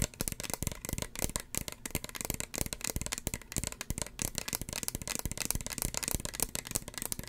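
A small, hollow red plastic spray bottle with a white plastic cap is tapped with long fingernails close to the microphone. The result is a rapid, steady stream of short, crisp, clicky plastic taps with a bright, hollow rattle across the whole clip.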